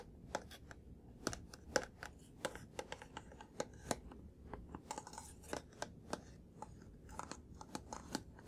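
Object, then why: Printed cardboard box. A printed cardboard laptop charger box with a blue plastic hang tab is held in both hands and tapped with fingertips and nails on its face and top edge. It makes a steady, irregular run of short, dry, crisp taps and clicks that stop almost instantly, with a low hollow papery rustle beneath.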